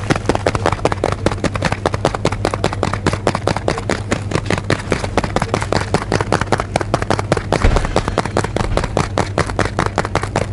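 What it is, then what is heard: Cardboard tea box. A full blue cardboard box of tea is held close and tapped or scratched with fingernails, producing a rapid, steady stream of dry, crisp clicks throughout. A low, constant hum sits underneath the tapping.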